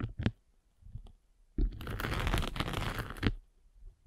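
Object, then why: Foam sanding sponge block with abrasive face. A derma roller with tiny metal spikes is rolled across the grey abrasive face of a palm-sized, solid rectangular sanding sponge block with blue foam backing, held in the hand. A few short, soft scratchy taps come first, then a dense, crunchy rolling scrape runs for about a second and a half and ends in a sharper knock. The sound is low and muffled overall, with a bright grainy hiss during the scraping.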